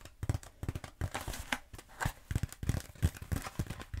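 Long acrylic nails tap and scratch a long black textured foam roller held horizontally. The result is a rapid, irregular run of dull, low, thumpy taps mixed with brief dry scratching and crackling. Each sound stops almost instantly with no ring.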